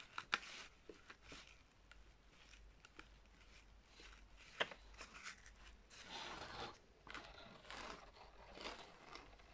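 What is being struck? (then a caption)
Glitter-coated fabric ribbon bow. Long red acrylic nails scratch, tap and rub along the loops and tails of a large, stiff, light gold glitter-coated fabric ribbon bow held up in both hands. Quiet, bright crinkly scratching is punctuated by sharp clicking taps, with longer rasping rubs toward the end.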